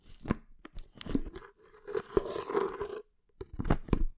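Long nails tap and scratch the white lid and side of a hollow, medium red plastic creatine tub held against the palm, close to the microphone. Sharp clicking taps mix with a rasping, crinkly scratch over a dull, hollow low body. The scratching runs steadily in the middle, pauses briefly, then ends with a few louder taps.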